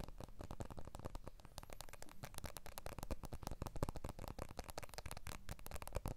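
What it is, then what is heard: Smartphone with glass back, tapped. Fingertips and short nails rapidly tap and scratch the glass back and aluminium frame edge of a small, solid blue iPhone 12 smartphone, its Apple logo visible. The result is a quiet, dense stream of short, dull clicks and soft scratches, heavy in low thuds with little bright content.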